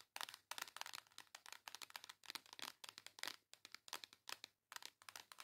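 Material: Cardboard.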